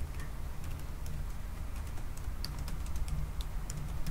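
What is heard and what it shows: Fingertips tap the black plastic keys of a silver aluminum laptop resting on a wooden desk in moderate-paced typing. Short, bright clicks with almost no ring sit over a steady, heavy low rumble that dominates the clip.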